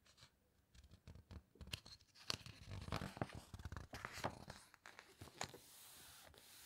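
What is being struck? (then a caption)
Hardcover book with glossy paper pages. Fingertips and long nails press and turn the glossy pages of a large open hardcover book, making crisp crinkles, soft scratches and papery swishes. Sharp, bright page flicks punctuate the quiet rustling, which settles into a faint steady hiss at the end.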